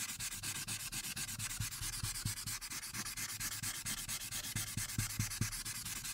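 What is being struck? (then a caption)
Marker tip on a paper sheet. A light-blue marker tip, held in red-nailed fingers, rubs in fast back-and-forth coloring strokes at the top right of a printed paper coloring sheet lying flat. The result is a continuous, bright, papery scratching hiss with a quick, uneven rhythm, punctuated by soft low thumps as each stroke changes direction.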